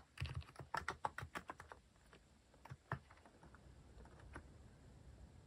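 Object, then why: Mechanical keyboard with plastic keycaps. Fingertips type on a full-size cream mechanical keyboard with sculpted plastic cat and paw keycaps, resting on a wooden desk. A quick run of short, dry clacks with a soft low thump opens the clip, followed by a few scattered keystrokes. Quiet background hiss fills the pauses.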